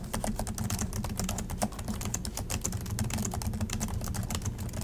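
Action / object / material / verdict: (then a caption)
tap / plastic laptop keyboard / plastic / none. Fingertips of both hands type continuously on an Acer laptop's low-profile plastic chiclet keys, set in a silver body. A rapid, steady stream of short, bright plastic clicks and taps rides over a constant low hum for the whole clip.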